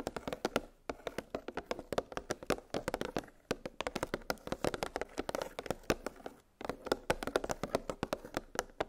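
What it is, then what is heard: Plastic blister pack of metal cookie cutters. Long pink nails tap rapidly on a clear, hollow plastic clamshell blister package holding nested metal gingerbread cookie cutters on a cardboard backing. The result is a steady stream of short, dry, hollow clicks centered in the midrange around 440 Hz, with quick decay. Brief pauses fall near 0.9, 3.5 and 6.5 seconds.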